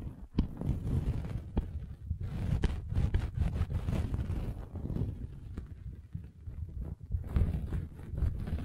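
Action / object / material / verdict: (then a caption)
scrape / velvet fabric bag scraped by a metal-spiked roller / velvet / none. A metal-spiked derma roller is rolled across the top of a red velvet bag covering a microphone, producing a dense, muffled low rumble with soft scratchy fabric rustling. Occasional brief sharp clicks cut through the steady low-heavy texture as the roller moves back and forth.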